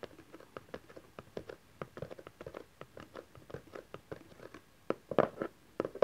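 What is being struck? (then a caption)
Small cardboard box. Fingertips and nails tap the top face of a small cardboard camcorder box resting on satin fabric, then hands hold its sides. A quick, uneven run of soft, dull taps sits in the low-mid range with no ring. A few louder, rustling taps come near the end.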